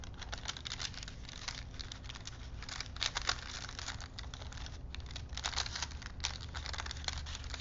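Fingertips roll and flex a thin printed paper strip wound on small wooden spools, producing a continuous stream of dry, bright crinkles and soft crackles. A steady low hum runs underneath throughout.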